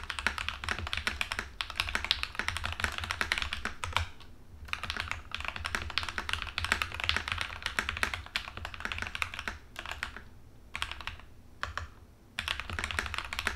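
An Epomaker TH80 plastic mechanical keyboard with pink and white plastic keycaps is typed on continuously with the fingertips of both hands. Rapid, bright, clicky keystrokes patter densely, with brief pauses around 4 and 12 seconds, over a steady low hum.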